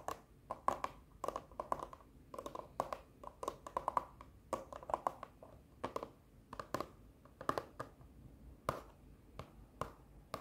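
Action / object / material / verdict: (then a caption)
tap / printed cardboard cosmetic box / cardboard / none. A hollow, printed cardboard box from a sheet-mask set with a kraft paper label is held up and tapped and scratched with long nails. The result is an irregular run of quick, dry, hollow taps with a papery midrange tone near 1 kHz, separated by soft scratching. Each tap dies away almost instantly.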